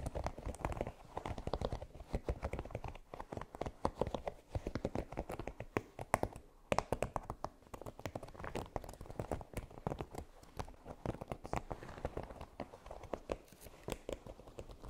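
Long nails tap and scratch across a flexible red silicone baking mat with a pyramid texture. The result is a steady, rapid run of soft, dull, dry clicks and rubbing scrapes with almost no ring, sitting mostly in the low and middle range with little high content.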